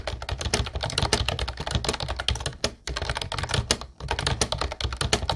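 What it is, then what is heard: Plastic typewriter-style keyboard being typed on. Fingertips of both hands type quickly on a mint-blue plastic Ubotie retro typewriter-style keyboard with round white keycaps. A dense stream of sharp, bright key clacks with a low plasticky thump underneath is broken by two brief pauses.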